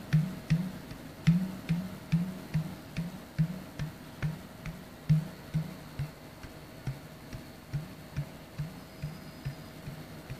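Fingertips tap on the top and neck of a hollow, clear plastic Sodastream bottle of about 1 liter, held in one hand. About fifteen soft, low, hollow taps arrive in an uneven, unhurried rhythm, each with a faint bright click on top and a short decay. Between the taps sits a quiet background hiss.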